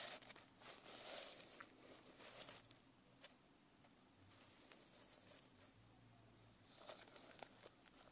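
Long nails scratch and tap the plastic sequin fabric cover of a closed notebook held upright. They make quiet, bright, crinkly rustles with short dry clicks scattered through. The sound swells in bursts near the start and end and fades to a soft hiss in between.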